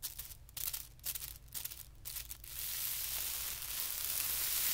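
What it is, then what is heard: Tissue paper sheet. Fingertips lightly scratch and rub the surface of a flat, thin white tissue paper sheet lying on carpet. For the first half, short bright papery scratches come in quick, uneven bursts. The sound then blends into a steady, louder hiss of rubbing that builds toward the end.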